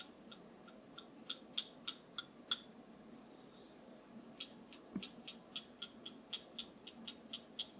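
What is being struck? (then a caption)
Wooden massage tool. A wooden massage tool is tapped 21 times in two clusters of short, sharp, dry clicks with a bright high pitch around 3.3 kHz. Each tap dies almost instantly over a soft, quiet background hiss.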